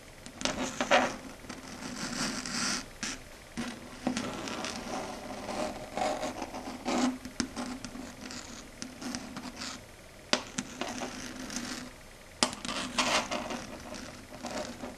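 Long red stiletto nails scratch and tap across a flat, matte, dark grey chalkboard. The result is a steady, gritty scraping with a low hum-like band around 250 Hz, broken by sharp taps and bright, hissy streaks.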